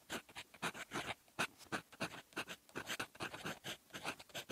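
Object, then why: Metal fountain pen nib on lined writing paper. A silver metal fountain pen nib writes in red ink on a flat sheet of lined paper. It makes continuous, quiet scratching strokes, short bursts of bright, dry friction noise that come and go in a quick, uneven rhythm with almost no low end.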